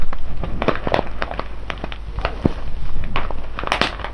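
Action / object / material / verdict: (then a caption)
tap / foil bag of whole coffee beans / foil, coffee beans / none. Fingers of both hands press, rub and tap the surface of a full, sealed silver foil coffee bag of whole beans lying on its side. Short crinkly crackles and soft clicks come in quick, irregular bursts over a steady low hum, with brief bright taps standing out.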